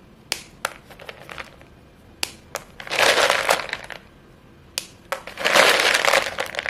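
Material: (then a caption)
Chalk. Chalk-covered fingers squeeze and snap short, solid white chalk sticks from a pile, crumbling the pieces. Sharp, bright snaps ring out one at a time, then give way to two longer bursts of dry, gritty crunching with almost no low end.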